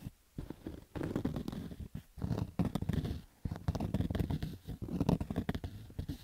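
Fingernails scratch along the stitched rows of a black cotton baseball cap's crown. The sound comes as rough, muffled bursts of dense scratching separated by brief pauses, heavy in the low end with almost no bright top.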